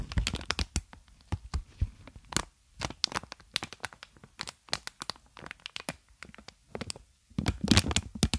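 A clear plastic air-column packaging sheet of inflated, hollow tubes is held in both hands and squeezed and crinkled with the fingers. It gives a rapid run of sharp, bright crackles and crinkly snaps with brief low thumps and very short gaps between them. The clip ends in a dense burst of crackling.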